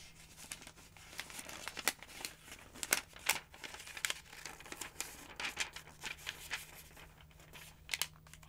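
Fingers with long nails grab and flip the pages of a large open paper phonebook with yellow pages. Dry, bright crinkles and sharp rustling flicks come in uneven bursts over a faint steady low hum.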